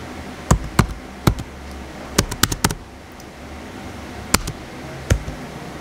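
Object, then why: Plastic laptop keyboard keys. Fingertips type steadily on the white plastic keys of a small blue plastic HP laptop. Sharp, bright key clicks with a low thump come in uneven bursts over a steady low background hum, each click dying away almost instantly.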